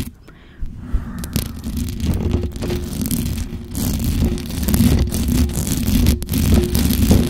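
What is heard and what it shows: Long acrylic nails of both hands scratch the hollow metal mesh grille of a black microphone. The sound is a dense, rumbling, crackly scrape, heavy in the low end with a faint bright hiss, and it rises from near-silence into a steady loud churn with brief dips.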